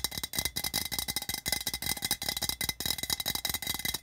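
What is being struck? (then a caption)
Printed metal tin can. Fingertips and nails tap quickly on the printed body of a hollow, patterned metal tin lying on its side on red carpet. The result is a fast, continuous run of bright, clicky metallic taps with a faint tinny ring near 2 kHz, each tap dying almost instantly with very little low end.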